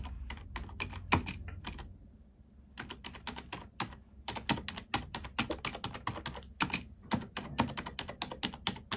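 A black plastic computer keyboard is typed on with the fingertips and long nails of both hands. Fast, bright clicking taps with a low thud underneath come in quick runs, with a short pause near the two-second mark before the typing resumes.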